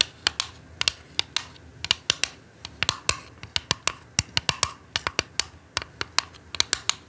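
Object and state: Plastic chocolate box.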